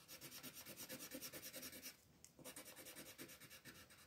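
A pink wooden colored pencil shades a petal on a flat white paper coloring page with rapid back-and-forth strokes. It makes a bright, scratchy rubbing rasp in a steady rhythm, with a brief pause just after the midpoint before the strokes resume.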